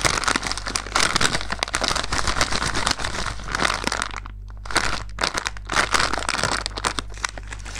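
A medium blue plastic-film Milky Way Minis bag, full of wrapped mini chocolate bars, is held in both hands and crumpled, squeezed and crinkled with the fingers. Dense, bright crackling and crinkling runs almost throughout, with a brief lull near the midpoint, over a steady low hum.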